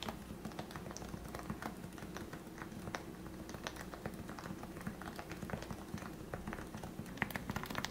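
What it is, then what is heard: Plastic Topre keyboard typing. Fingertips type steadily on the keycaps of a compact plastic Leopold FC660C Topre keyboard with lubricated 45g switches. The result is a fast, even stream of soft, muffled, rounded thocks, mostly low-pitched with short bright clicks on top. Each keystroke dies away almost instantly over a faint low background hum.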